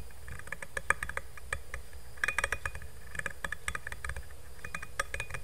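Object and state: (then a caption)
Stainless steel insulated bottle. Fingernails tap fast on the flat bottom of a black stainless steel insulated water bottle held upside down near the mic. The result is a rapid stream of sharp, clicky taps, each with a brief metallic ping around 1.7 kHz, over a steady low rumble.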